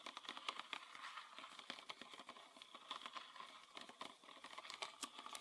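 A green PET bottle with a red plastic cap, full of liquid, is tapped and scratched with fingernails on its body and cap. Quick, dry clicking taps mix with a continuous crinkly scratching, bright and thin with almost no low end and a tone centered around 1.1 kHz. Each tap dies away almost instantly.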